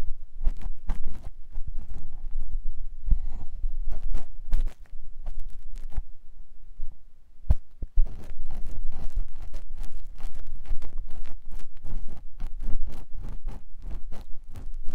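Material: Silicone.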